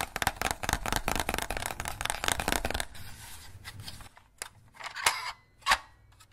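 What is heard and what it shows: Fingers press the teeth and snap the jaw of a small green hollow plastic crocodile dentist toy held in both hands, making mechanical clicks. A dense run of rapid, bright clicking fills the first few seconds, then fades to a quieter rustle broken by a few sharper, isolated snaps near the end.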